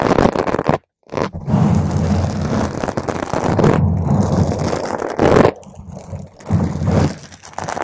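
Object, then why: Foam microphone windscreen. Long, pointed green acrylic nails on both hands scratch a soft, porous purple spherical foam cover, about 10 cm across, fitted over a microphone. The result is a dense, crunchy scraping with a heavy low rumble, broken by a brief silence near the first second and later dropping to quieter, softer rubbing between louder bursts.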